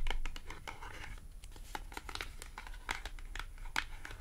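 A small, thin, flat green matte cardboard clothing tag is tapped and scratched with long acrylic nails. A rapid series of quiet, sharp, bright clicks and papery scratches rises over a low background rumble. Each tap dies away almost instantly.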